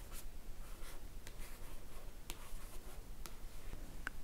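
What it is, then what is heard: Paperback book cover, scratched and tapped. Fingertips with nails scratch and tap across the glossy paper cover of a solid paperback book lying flat. Soft, quiet scratching runs throughout, broken by a few sharp, bright taps and ending with a louder click.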